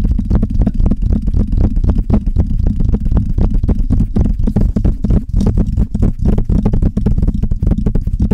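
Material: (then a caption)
Metal. Long red nails on both hands rapidly tap and scratch the hollow metal mesh grille of a Blue Yeti microphone. The result is a dense, continuous patter of short, deep, boomy thuds with a faint scratchy texture above them, steady in loudness for the whole clip.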